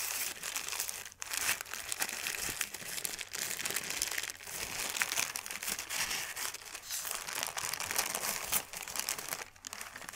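A thin white paper sheet is unfolded and smoothed out by hand, producing continuous bright crinkling and crackling that sits mostly in the high range. The rustle stays fairly steady throughout, with brief pauses near the start and the end.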